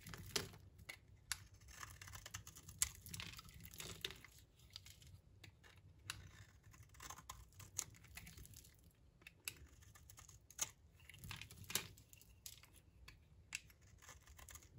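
A utility knife blade scrapes across the face of a solid, dry light green bar of soap. The result is a quiet, uneven series of short, crisp scraping and crackling bursts with a bright, dry texture and no ring after each stroke.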